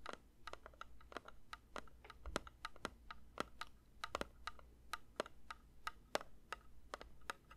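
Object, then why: Metal candle tin. A metal candle tin is lightly tapped with the fingers in a quick, uneven series of soft clicks. Each tap is short and dry with a faint metallic tone near 600 Hz and a brighter edge, decaying almost immediately over a low steady hum.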